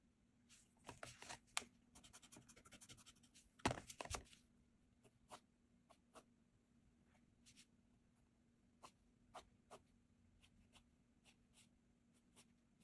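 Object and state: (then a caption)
Pencil strokes on sketchbook paper. A blue Staedtler mechanical graphite pencil scratches short strokes across a flat cream paper sketchbook page while sketching a face. A dense burst of bright, dry scratching fills the first four seconds, then thins into sparse, isolated quick strokes over a faint steady low hum.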